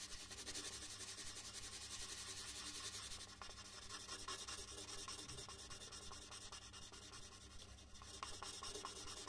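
A red colored pencil is rubbed back and forth across a large white paper sheet lying flat on a wooden desk, shading in letters. The result is a steady, dry, scratchy rubbing with a bright hiss and a faint low hum underneath. It dips briefly twice as the strokes pause before continuing.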